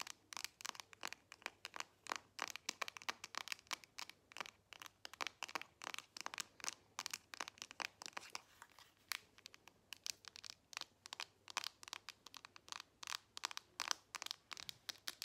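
A solid smartphone held horizontally in both hands is tapped and scratched with long nails on its back and screen. A quiet, rapid stream of sharp, bright clicks and crisp scratches follows, each dying away almost instantly.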